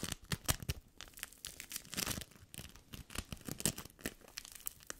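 A yellow ball of sticky bead foam (play foam) is squeezed and pinched with fingertips and long nails. It gives a dense run of short, crisp crackles and crunchy pops that tear and crinkle, bright and close. The crackles come in irregular bursts with almost no ring-out between them.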